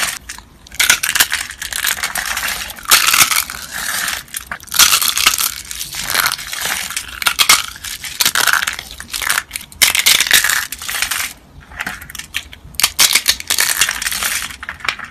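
White, dry, brittle soap flakes and shavings lying among soap rolls are squeezed and crushed in the fingers of one hand with long nails. Bursts of dense, bright crunching and crackling come in repeated waves, with short quieter gaps between squeezes.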